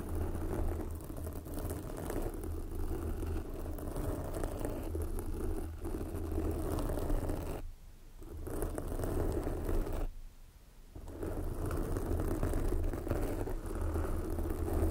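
Long glossy black fingernails of both hands scratch a soft, porous red foam windscreen covering a microphone. The result is a dense, continuous low, rumbling scratch and rustle, with two brief quieter dips near the middle before the steady scratching resumes.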